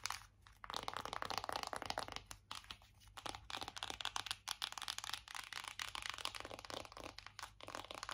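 A closed, flat, hollow black matte cardboard eyeshadow palette with gold lettering is tapped and scratched on its front and back with long acrylic nails. Quick, dry, crunchy taps and scratchy crackles come in dense, irregular bursts with short pauses between them. The sound is bright and papery, with almost no low end and no ring.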